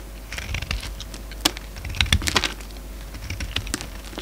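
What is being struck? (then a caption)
Bar of soap shaved with a blade. A steel utility-knife blade shaves curled strips off a solid, hand-sized orange soap bar held in the hand. Soft, crisp scraping and crackly clicks follow one another, with a few sharper bright snaps over a low, steady hum. Each sound stops almost at once with no ring.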